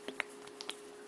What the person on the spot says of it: you can't even hear it sloshing around in there. It's so thick.